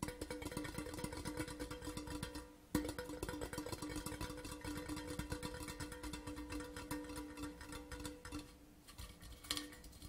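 An empty, large, hollow printed metal Port Charlotte whisky tin tube lies horizontally and is tapped rapidly with the fingertips of both hands. The taps make a dense, continuous patter of short, hollow metallic knocks with a steady ring near 300 Hz. There is a brief pause before one sharper, louder tap, then quick tapping resumes and softens toward the end.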